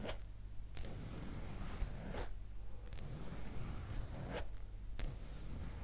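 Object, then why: Leather skirt. A soft, flexible black leather skirt, held in hand near the microphone, is scratched and rubbed with long green acrylic nails. The result is a steady, quiet scratching and rubbing texture with a low rumble underneath and brief zipper-like swipes that flare bright.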